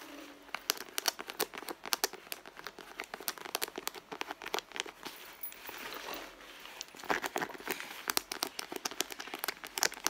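Long blue nails scratch and squeeze the soft leather at the end of a red leather handbag with a small metal logo plate. Dense, rapid bright scratching and crinkling clicks run throughout, with a brief smoother rubbing stretch near the middle.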